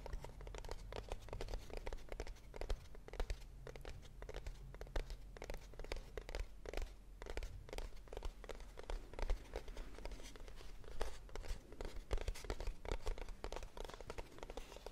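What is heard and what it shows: A small, hollow kraft cardboard box is held in the hand and tapped rapidly with long nails. The result is a steady stream of quick, dry, papery clicks and soft crinkly scratches over a low, constant hum, with each tap dying away almost at once.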